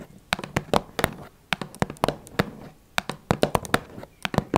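Long red nails tap on the sides of a small, hollow, blue Twinings cardboard tea box, giving about twenty sharp, dry, clicky taps in quick, irregular bursts. Each tap is bright and hollow-sounding and dies away almost at once, with faint rustling between them.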